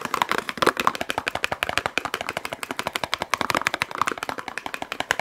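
A small Yardley bar soap carton, a paperboard box with a soap bar inside, is held in one hand and tapped fast with long acrylic nails. Over forty quick, dry, papery clicks come in an irregular rapid stream, each dying almost at once, with bright midrange crackle and almost no low end.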